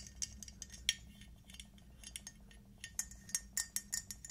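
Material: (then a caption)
Glazed ceramic. Long acrylic nails tap a small, glossy, red-black speckled glazed ceramic T-rex figurine, producing a quick, irregular run of bright, high clicks and light clinks. Each tap dies away almost at once, over a faint low background hum, and the taps grow sharper and denser toward the end.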